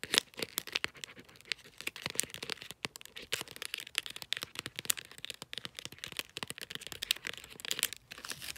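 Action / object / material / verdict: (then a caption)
tap / glossy wrapping paper on a small cylindrical gift / paper / none. Fingertips and long nails tap and scratch the wrapped top of a small cylindrical gift covered in glossy light-blue bulldog-print paper with taped, folded ends. A dense, steady stream of sharp, dry taps and crinkly scratches fills the clip, bright and papery with almost no low end, each tap stopping instantly without ringing.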